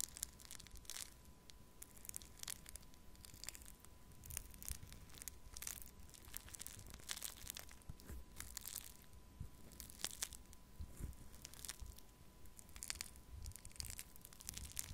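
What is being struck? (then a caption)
Foam bead clay in a plastic cup. A thin wooden stick pokes and scratches pink foam-bead pearl clay filling a small plastic cup, while a second cup sits nearby untouched. Quiet, dense crackling and crunching runs throughout, with bright crisp snaps over a low rumble and a faint steady tone near 1 kHz.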